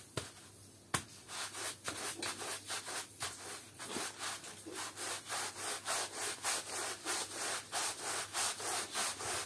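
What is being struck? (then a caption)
Woven textile rug, wet, scrubbed with a bristle brush. A long-handled bristle push brush scrubs a flat, patterned woven textile rug lying on a wet floor, its surface covered in wet mud and soap. Brisk back-and-forth strokes make a bright, wet rasping swish that repeats roughly three to four times a second and grows steadier and louder as the scrubbing continues. A sharp click stands out near the start.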